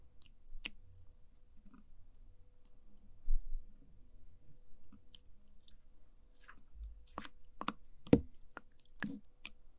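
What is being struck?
Orange jelly pudding in a plastic cup, wooden spoon.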